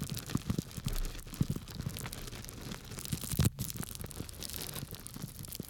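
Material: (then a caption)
Plastic, grains. A small clear plastic bag full of small dry grains is held by its tied top in one hand while the fingers of the other hand scratch and rub it. The result is a steady, quiet stream of crinkly, gritty scratching and rustling with soft low thumps and short bright crackles, and one brief louder burst near the middle.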